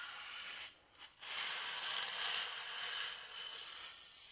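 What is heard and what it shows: A small, white, solid styrofoam block, held close to the face, is rubbed with a flat hand and fingertips. The result is a steady, bright, hissing friction sound centred near 3 kHz, with almost no low end. It dips briefly to near silence around the first second, then resumes and continues to the end.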